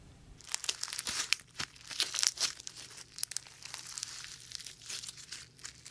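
A fist-sized lump of sticky translucent slime packed with small white polystyrene foam beads is kneaded, stretched and squeezed by bare fingers close to the mic without touching it. The result is a dense, bright stream of fine crackling and crinkling pops with sticky squelches. Many quick, sharp clicks fade almost instantly, with almost no low end.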